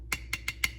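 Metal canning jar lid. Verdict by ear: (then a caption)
Sealed. A finger taps four times on the metal lid of a home-canned beef stew jar, producing short, bright ticks with a ringing tone near 2 kHz over a low background hum. The sound indicates the lid is sealed.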